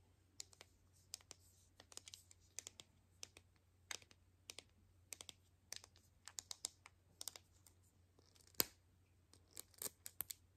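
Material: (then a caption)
Plastic. Long nails tap on a palm-sized, hollow white plastic capsule ball with seam lines, unwrapped and held in both hands, its contents not visible. The result is an irregular series of quiet, bright, sharp clicks that die away almost instantly, with the loudest tap near 8.6 seconds, over a faint, steady low hum.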